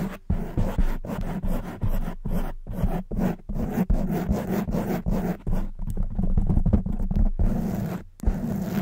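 Long white nails scratch fast across both sides of a black foam microphone windscreen, making a dense, zipper-like rasp. The bursts are heavy in the low end, with short gaps between strokes, and keep going steadily for the whole clip.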